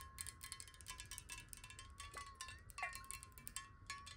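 Long nails tap rapidly on a clear square glass bottle that is partly filled with water and held horizontally. The result is a fast, uneven stream of light, bright clicks over a steady glassy ring near 1 kHz, with a faint low background hum underneath.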